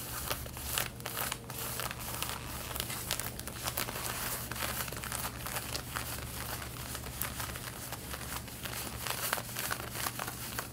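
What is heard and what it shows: Long painted fingernails scratch the front of worn light-blue denim jeans near the waistband and front pockets. The result is a dense, continuous, bright scratching and rasping texture with quick crinkly strokes over a steady low hum, holding an even level throughout.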